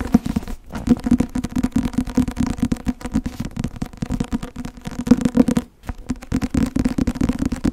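Long nails tap and scratch the front cover of a closed, thick white and blue Academia Iuris softcover textbook. Dense, dry taps and scrapes run almost without pause, with a low hum around 250 Hz. A brief silence falls just before the six-second mark.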